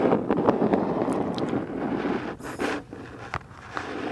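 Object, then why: Cardboard box. Long black nails scratch and tap the printed side of a medium, hollow black Boxycharm cardboard box held upright. Steady, papery scratching fills the first two seconds, then a brief bright rasp comes before a few sharp, dry taps with almost no ring.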